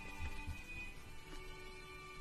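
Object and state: Nothing is struck.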